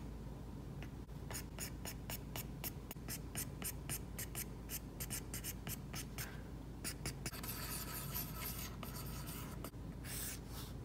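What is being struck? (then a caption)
Tablet glass screen with matte plastic film, stylus tip. An Apple Pencil's plastic tip draws short strokes across an iPad's glass screen fitted with a Paperlike matte plastic screen protector, a large flat solid surface. Quick, light scratchy taps and brushes repeat in a steady rhythm, then blend into a denser, continuous bright rubbing near the end, all over a low, steady background hum.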